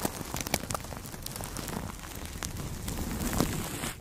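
Two makeup brushes held in the fingertips brush and rub across clear plastic cling film wrapped tightly around a large microphone head. The result is a dense, steady crackling rustle with sharp sparkly ticks scattered throughout, continuing for about four seconds before fading at the end.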